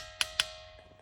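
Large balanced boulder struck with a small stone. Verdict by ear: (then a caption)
Ringing. A small stone strikes a large balanced boulder at Srisailam twice, each hit giving a sharp, bright, bell-like ring with a steady tone that lingers faintly between and after the strikes. The boulder rings like a musical instrument or a damaru drum, with each spot on it giving its own sound.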